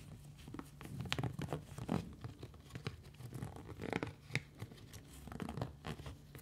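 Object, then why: Textured silicone scrubber pad. A hand-sized pink textured silicone scrubber pad with small bumps is scratched and squeezed with fingertips and long nails. The result is a steady run of quick, dry, crackly rasps and soft squelchy crinkles over a faint low hum, with brief bright scratches standing out now and then.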